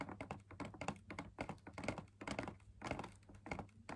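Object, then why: Fabric-laminated drum lamp shade. Fingers tap the outer wall of a hollow, perforated, fabric-laminated drum lamp shade in quick, irregular bursts. Each tap is a soft, dull thunk that dies away almost at once, with a faint low hum underneath.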